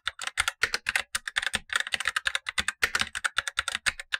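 Blue-gloved fingertips type steadily on the upper of two keyboards, a tenkeyless Razer BlackWidow Lite plastic mechanical keyboard with black plastic keycaps and tactile switches, while the lower keyboard sits untouched. About 29 short, bright clacks come in a quick, uneven rhythm, each snapping off almost instantly with a crisp plastic rattle and little low end.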